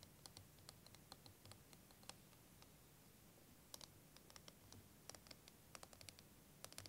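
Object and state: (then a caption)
Plastic liquid timer. A clear, curved plastic wavy liquid timer filled with green and blue liquid is held in both hands and tapped and scratched with fingernails. Quick, dry, bright clicks and light scratches sound in irregular bursts over a quiet, steady low rumble, and each tap dies away almost instantly.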